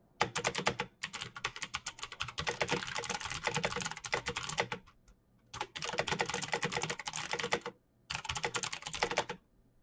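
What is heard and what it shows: Both hands type fast with their fingertips on a backlit plastic mechanical keyboard, a Razer BlackWidow with clicky green switches, pressing the keycaps. Rapid, bright, sharp clicks come in dense bursts, broken by short pauses of silence.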